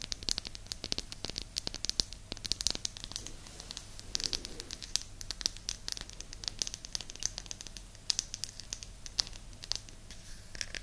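Long nails tap and scratch a small, flat, round, solid light-wood disc held close to the mic, making dense, fast, bright clicks and scratchy crackles over a faint low hum. The sharp taps come in rapid clusters throughout with almost no ring.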